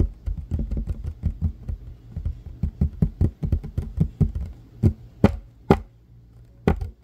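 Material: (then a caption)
Wood. Fingertips and short nails tap and scratch a flat, solid, light wooden table top. Quick, dull, low knocks come in a rapid run, then thin out into a few sharper, well-spaced taps near the end. Each one dies away almost at once.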